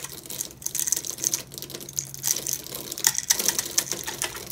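A small metal blade scrapes and cuts into a dry, hand-sized orange bar of soap held in one hand, its surface already scored with cut lines, chipping off crumbly flakes. Rapid, bright, crunchy scraping clicks follow one another unevenly, with almost no low end. Each one dies away almost at once.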